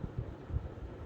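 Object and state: Nothing is struck.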